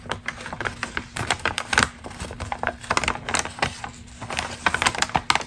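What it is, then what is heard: Crinkled glossy magazine page. Long green acrylic nails scratch and crinkle a single crumpled, thin glossy Ralph Lauren magazine ad page held in both hands. The result is a fast, irregular stream of crisp, dry crackles and bright clicks that rise and fall in loudness, over a faint steady low hum.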